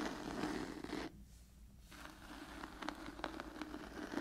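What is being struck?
Cloth-bound hardcover book.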